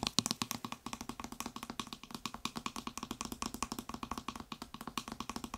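Fingertips and nails rapidly tap the white trigger head and upper body of a blue plastic spray bottle. About fifty quick, dry hollow clicks with a low tone around 220 Hz and bright, crisp edges follow in an even, fast rhythm, each dying away almost instantly.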